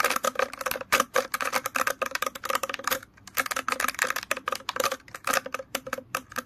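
Fingers scratch and flick through the many long, stiff plastic bristles of an orange plastic hairbrush. The result is a rapid run of dry, bright, ticking clicks with almost no low end, and each click dies away almost instantly. There is a brief pause near the middle before the flicking resumes.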